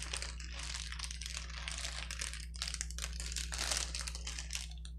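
A clear plastic bubble wrap sheet on a table crinkles as fingertips press and squeeze the bubbles and lift one edge. Dense bursts of bright, crackly rustling come and go without pause over a steady low hum.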